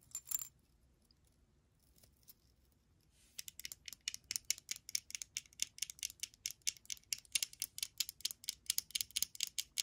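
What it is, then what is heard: Glass perfume bottle. A small hollow glass perfume bottle with a faceted purple-blue base, apparently Viva La Juicy, with liquid inside, is held in the hand and tapped with long nails. A brief clicky burst opens the clip, then after a quiet pause comes a rapid, steady run of bright, sharp, high-pitched taps for the last seven seconds. Each tap dies away almost at once, with no low-end body.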